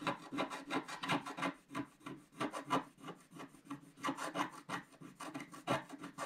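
A wooden stylus scratches the black coating off a flat scratch-art paper sheet along its left edge while the left hand holds the sheet. Quick, dry rasping strokes repeat about three times per second with an uneven rhythm, each a short scrape with a low body and a bright, airy hiss.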